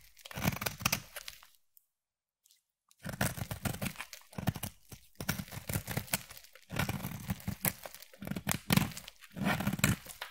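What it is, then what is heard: Bar of soap being scraped. A utility knife blade scrapes and shaves the surface of a solid green striped bar of soap held in the hand. Dense, crackly scraping and crunching strokes come in bursts, with a full low body and a bright, gritty edge. A brief silent pause falls near the start before the shaving resumes steadily.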